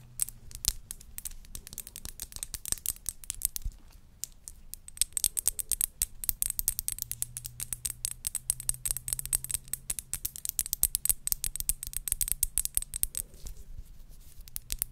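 Long nails tap and scratch a square glass perfume bottle with a skull print, partly filled with pink liquid and topped with a silver cap. The result is a dense run of quick, bright clicks with scratchy, brushing strokes in between. A faint high ringing tone and a low hum sit underneath.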